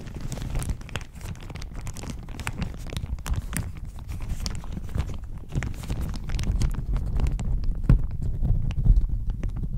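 A thin floral plastic shower cap with an elastic edge, fitted over a microphone, is scratched and squeezed with long nails and fingertips. This produces a steady run of close crinkling and scratching, with dense low rumbling handling noise and sharp bright ticks scattered throughout. The sound grows slightly louder toward the end.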